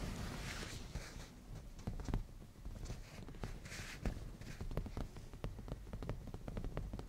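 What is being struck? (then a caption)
Padded leather cushion. Nail tips of both hands tap and scratch the padded black grained leather surface of a black leather cushion. Soft low thuds from the taps sit under brief bright scratchy swishes, in an uneven run of quick, dry, short-lived hits.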